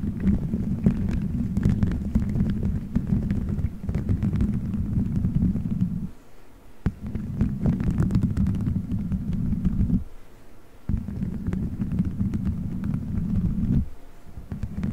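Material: Gelatin.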